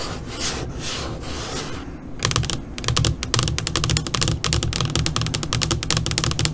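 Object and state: LCD monitor screen tapped and scratched with nails.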